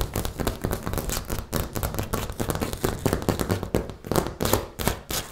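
Fingertips and nails of both hands tap and scratch a flat bathroom wall of small textured beige ceramic tiles beside a round mirror, with the microphone held close to the solid surface. A rapid run of dry, short clicks and scrapes follows, each dying away almost instantly, over a low, close-miked thump and with a bright, crackly edge.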